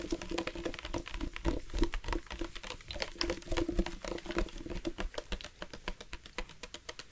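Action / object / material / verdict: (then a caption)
tap / plastic sports water bottle with water / plastic / none. Fingertips and nails tap quickly on the body of a dark plastic sports water bottle with a loop cap, hollow and partly filled with water. The short, dry taps come in a fast, uneven patter, with a low hollow thump and a faint tone around 340 Hz under bright clicky edges that die away almost at once.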